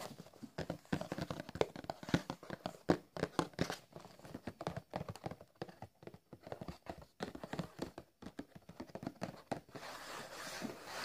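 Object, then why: Cardboard box of biscuit packs. Fingertips tap and scratch a rectangular Plasmon cardboard box of biscuits, hollow and filled with packs, producing a quick run of dry, dull hollow knocks with short decays. Toward the end, the tapping gives way to a steadier, softer scratching rustle across the cardboard.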